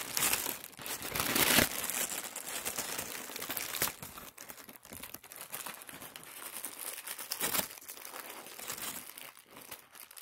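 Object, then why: Thin tissue paper sheet. A large wrinkled sheet of thin white tissue paper on a wooden table is rubbed and crinkled with fingertips. It makes a steady, bright crinkling and rustling with soft crackles. Louder swells stand out near the start and again around the three-quarter mark.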